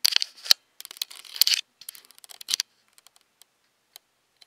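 Long decorated acrylic nails tap and scratch the hollow plastic body and lens of a handheld black Nikon DSLR camera, seen in a mirror. Bursts of crisp, dry clicking and scraping sit almost entirely in the high treble with no low end, then thin out into scattered light ticks.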